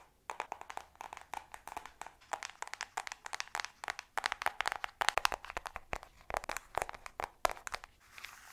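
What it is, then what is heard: Hollow cardboard eyeshadow palette. Long pink nails tap and scratch the cover of a flat, hollow Revolution eyeshadow palette in a cardboard case. Quick, dry clicks come in dense irregular bursts, bright and centered around 1 kHz with almost no low end and no ring. Near the end they fade into a softer scratching rustle.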